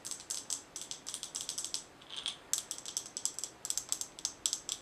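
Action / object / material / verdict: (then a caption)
tap / glass mason jar with metal lid / glass, metal / none. A glass mason jar with a gold metal lid, full of colorful small items, is tapped with long nails on the glass and the lid. The result is quick, bright, dry clicking taps with almost no low end, coming in uneven bursts with a short, softer scratchy pause near the middle.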